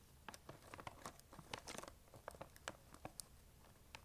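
A large, full, printed plastic sharing-size bag of peanut M&M's is tapped and scratched with long acrylic nails, crinkling its surface. The result is a quiet run of short, dry, bright crackles and soft taps, with no ringing after each touch.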